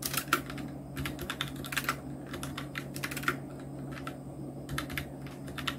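Fingertips of both hands type steadily on a full-size black Nubwo Illution NK-70 mechanical keyboard with Outemu red switches, round plastic typewriter-style keycaps and blue backlight, resting on a white desk. Quick, bright plastic clicks and clacks come in uneven bursts over a faint, steady low hum.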